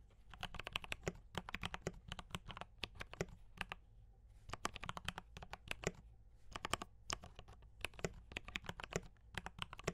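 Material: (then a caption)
Plastic. Fast fingertip typing on a compact D84 mechanical keyboard with brown switches and cream and red plastic keycaps gives quick, sharp, bright clacks with a low thump beneath each keystroke. The clicks come in rapid bursts, with short pauses around four and six seconds, over a faint low background hum.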